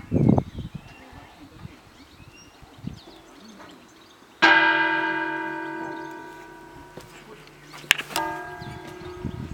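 The only bell of the parish church in Świecie, a cracked bronze church bell, is struck twice after a few seconds of faint background sounds. Each strike rings with a bright, clanging tone and many overtones that fade slowly. The bell sounds the note D, though by its look it should sound F-sharp.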